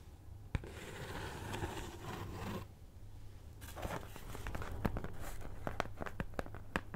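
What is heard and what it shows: A flat, cat-head-shaped cutout of brown kraft cardboard (possibly thin fibreboard), held in one hand, is scratched with the long nails of the other hand. Soft, dry, papery scraping comes in longer strokes at first, then turns into a quick run of short, crisp nail clicks and ticks over a faint low hum.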